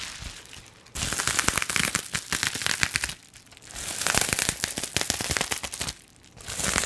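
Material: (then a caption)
Plastic. A flat sheet of clear plastic bubble wrap is held up while long nails scratch and crinkle across its bubbles. Dense, bright crackling and crinkling come in three bursts, separated by brief quieter stretches of soft rustle. The ticks are sharp and dry, with almost no ring.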